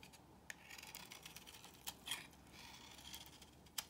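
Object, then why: Bar of soap cut with a blade. Curls are shaved off a solid beige bar of soap held in the hand, using a box cutter blade. The cutting makes a quiet, bright, crisp scraping, with a few sharp clicks as the blade bites and curls break away.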